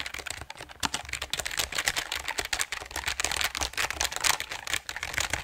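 A full-size RGB-backlit mechanical gaming keyboard with dark plastic keycaps on a grey aluminum top plate is held upright in front of the microphone while both hands tap and press the keys rapidly with their fingertips. The result is a dense, steady run of sharp, bright plastic clicks and clacks that die away almost instantly, with little low-end weight.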